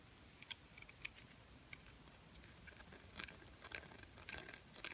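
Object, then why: Small glitter-coated plastic bird ornament. A small, silver glitter-coated plastic bird ornament is held and tapped and scratched with long painted nails. Quiet, sharp, bright clicks and fine scratchy rustles come at an irregular pace, growing busier in the second half. Each click stops dead with no ring.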